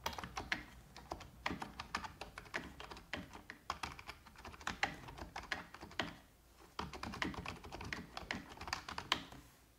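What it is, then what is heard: Plastic computer keyboard. A full-size black plastic computer keyboard with hollow keys is typed on continuously with long red-painted nails and the fingertips of both hands, tapping the keys. The clicks come as a steady, bright, clattery patter of sharp taps. The typing pauses briefly around the sixth second before resuming.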